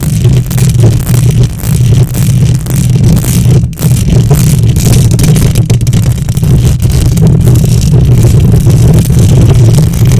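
Long nails scratch the hollow metal mesh grille of a silver condenser microphone with both hands. The result is a loud, continuous, dense scraping rumble, heavy in the low end around a 109 Hz hum, with a faint brighter hiss above. It holds steady for about ten seconds, with only a brief dip near the four-second mark.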